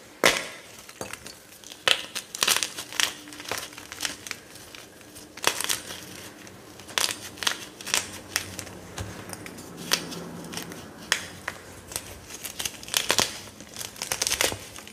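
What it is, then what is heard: Gym chalk block crumbled by hand. Dry pieces of a white gym chalk block (magnesium carbonate) are squeezed and crumbled in both hands over a pile of shards on a dark counter. The result is a long run of sharp, bright crunches and crinkly crumbling snaps with almost no low end, separated by quiet gritty rustling.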